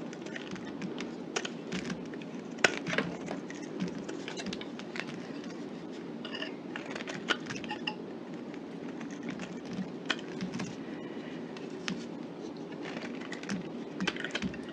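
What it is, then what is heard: Soap bar cut with a knife. A solid green soap bar held in the hand is cut and scraped with a knife blade, sending small chunks falling onto a pile of soap pieces. A steady, soft crackling scrape runs throughout, broken by frequent sharp, bright snaps as the blade bites through the soap.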